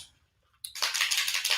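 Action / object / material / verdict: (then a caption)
shake / small makeup bottle with a metal mixing ball / metal / loose. A bottle of pearl Luminizer airbrush makeup with a metal mixing ball inside is shaken before use. After a brief quiet start, a bright, rapid rattle begins as the BB knocks around inside. The ball moves freely, which shows the product is being mixed as it should.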